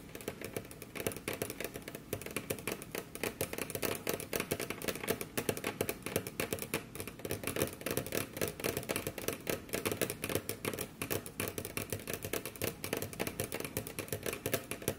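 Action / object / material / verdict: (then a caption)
tap / wooden desk surface / wood / none. The tips of very long curved nails on both hands tap and scratch across a large, solid, dark brown polished wooden desk surface. Rapid, dense clicks with very short decay blend with a continuous dry scratching texture, mid-toned with bright crisp edges. The tapping runs steadily throughout at a soft, even level.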